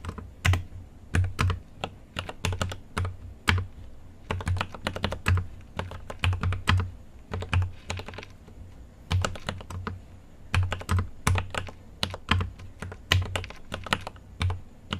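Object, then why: Mechanical keyboard, plastic keycaps on a metal case. Continuous typing on a GMMK Pro mechanical keyboard with an aluminum case and plastic keycaps, struck with the fingertips of both hands. Quick bursts of crisp taps with a deep, low thock and a bright click on top come in uneven runs separated by short pauses, each key sound dying away almost instantly.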